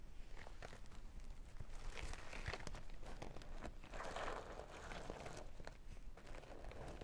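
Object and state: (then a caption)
Sequin makeup bag scratched with nails. Long nails scratch and brush over the sequin panel of a small, hollow sequin and holographic vinyl makeup bag. The result is a steady, dense scratchy rustle with quick, sharp clicks over a low rumble, and brighter crinkly swells around the middle.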